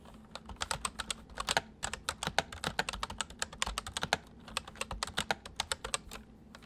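Fingertips of both hands type steadily on a white full-size MSI plastic mechanical keyboard with hollow keys. A quick run of sharp, bright clicks follows, each dying away almost instantly, with small pauses between bursts.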